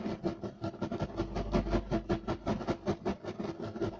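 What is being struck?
Woven loop-pile carpet.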